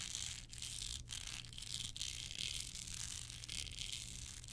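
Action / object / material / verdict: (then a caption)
scrape / small hard card holder covered in rhinestones / rhinestone / none. Long nails scratch across a small, hard, hand-held card holder covered in clear rhinestones with black edges. The result is a steady, bright, gritty rasp that sits mostly in the high range over a faint low hum. The scratching briefly dips between strokes.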